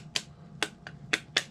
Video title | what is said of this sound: carbon fiber bellcrank demold | you can usually hear it break loose